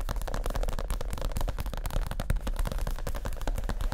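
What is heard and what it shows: Fingertips of both hands tap quickly on a white leather (possibly faux) chair seat cushion that is padded, soft and stuffed. The result is a dense, continuous patter of dull, deep thumps that die away almost instantly, with almost no bright edge.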